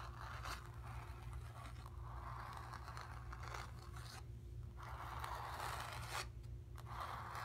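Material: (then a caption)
Painted canvas. Long nails scratch across the lower painted area and edge of a stretched, painted cotton canvas. Dry, raspy scraping strokes centered around 1 kHz come in bursts, with brief pauses between them, over a steady low hum.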